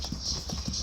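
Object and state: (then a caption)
Plastic folding bed frame. Light taps on the black plastic piece of a folding bed frame, kept in a backpack, which flips out to form the bed. The knocks are dull and hollow, with a low thud under a bright, hissy background. The clip-clop-like knocks stay fairly even in level throughout.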